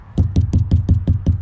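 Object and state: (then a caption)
Hollow wall section with no stud behind. A wall between studs is knocked on, producing a series of low, hollow thuds around 86 Hz with almost no high end and a very short ring. Eight separate knocks are heard, and the hollow sound shows there is no stud behind that spot.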